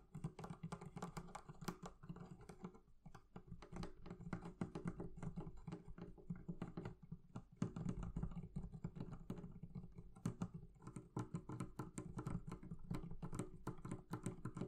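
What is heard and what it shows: The leather covering of a barrel chest is tapped rapidly and continuously with light, dull taps that come in steady bursts with brief pauses. Each tap is short and soft, with a muffled, low-heavy thud and almost no ringing or bright content.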